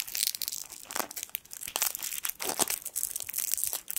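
A small gold foil sweet wrapper is crinkled with the fingertips above a microphone while its twisted end is pulled. The result is a dense stream of sharp, bright crackles with almost no low end, each snap dying away at once.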